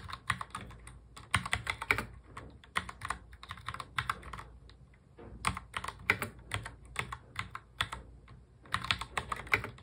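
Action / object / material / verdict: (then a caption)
tap / plastic mechanical keyboard / plastic / none. Fingertips of both hands touch-type fast on a full-size black plastic mechanical keyboard. Rapid bursts of sharp, bright key clicks come with a short pause near the middle. Each click dies away almost instantly, with only a faint low thud underneath.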